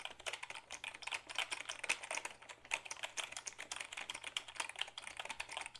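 Fingertips type on the keys of a black Dell keyboard made of hollow plastic, held tilted. It makes a quick, steady run of light, bright clicks and clacks, each short and crisp with almost no low end.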